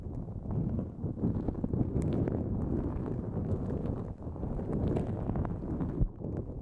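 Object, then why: Nonwoven fabric drawstring bag. Long nails scratch a pink-white, mesh-like nonwoven fabric drawstring pouch pulled over the microphone. The result is a dense, continuous, muffled scratching and rustling, heavy in low rumble with almost no high end. It dips briefly near the four-second mark and ends with a soft thump.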